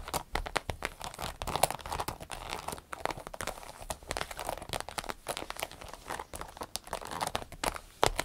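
Long nails scratch and tap the glossy vinyl sides of a small green-yellow striped vinyl zippered pouch as it is held and tilted. The result is a dense, steady stream of quick, dry taps and crinkly scratching, with bright crackle over a papery midrange and no ringing after each tap.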